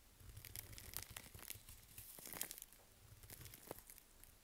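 A curved knife scrapes along the edge of a solid, dry bar of Svoboda "Green Tea" toilet soap held in a gloved hand, shaving off crumbly flakes. The clip is a quiet run of dry, crisp crunching and scratchy tearing sounds, bright and hissy on top, with a soft low rumble underneath and a few sharper crackles standing out.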